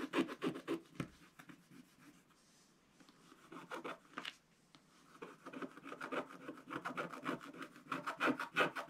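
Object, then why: Black-coated scratch-art paper scraped with a wooden stylus. A wooden stylus rubs and scratches across the tractor area of a black-coated scratch-art card page in a spiral book. Quick, uneven dry scraping strokes come in bursts, with quieter pauses around the second and fifth seconds. Bright, papery rasps leave little low end.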